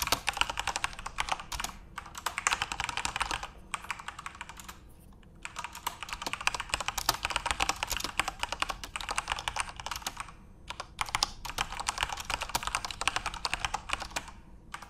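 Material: Plastic.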